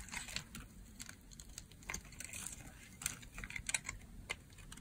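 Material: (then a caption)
Soap. A hand-sized solid green bar of dry soap, held in the hand, is shaved with a box-cutter blade, making crunchy, crisp carving and scraping sounds. Short bright scrapes come in quick succession over a quiet low rumble as soap curls fall onto a pile of soap bars.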